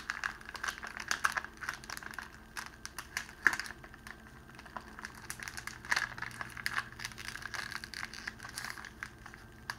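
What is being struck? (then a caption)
Clear cellophane wrapping sheet. A folded sheet of clear cellophane wrapping, held in both hands, is squeezed and crinkled by the fingers. The result is a dense run of sharp, bright crackles and crinkles, with a few louder snaps standing out among them.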